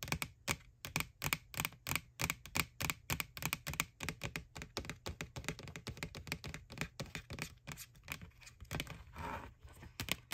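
Long nails tap and scratch the side of a white hollow plastic ghost Halloween bucket from McDonald's, making a fast, uneven run of sharp, bright clicks with almost no ring. Near the end a softer scraping sound rises between the taps.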